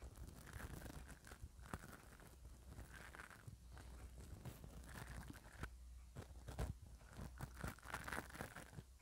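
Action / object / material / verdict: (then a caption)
scrape / metal mesh microphone grille and bristle brush / metal mesh / none. A spoolie brush on an orange handle is brushed over the top and side of the hollow metal mesh grille of a small microphone held in one hand. Close, scratchy rustling and crinkling strokes come in bursts over a steady low hum.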